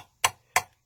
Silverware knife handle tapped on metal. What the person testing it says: there's no resonance to it. It's just kind of a dull thud.